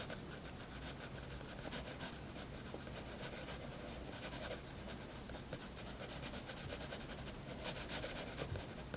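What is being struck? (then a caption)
Graphite pencil on a paper sketchbook page. A graphite pencil shades and draws on a white paper sketchbook page, rubbing across the surface. Soft, steady scratchy strokes with a bright papery hiss continue throughout, with a few louder strokes near the end.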